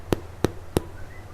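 Three quick, hollow knocks on the bottom of a freshly baked Korean cream cheese garlic bread loaf, tapped close to the mic, each a short low thud with almost no ring. The hollow, empty sound means the loaf is fully cooked.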